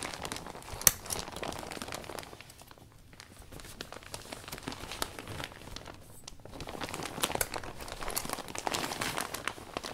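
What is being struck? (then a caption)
Thin vinyl umbrella canopy. A blue microfiber cloth wipes and rubs the inside of a large, open, thin, iridescent vinyl umbrella canopy, cleaning the new umbrella. The result is a steady, bright crinkling of plastic with a sharp snap near the start and brief quieter lulls.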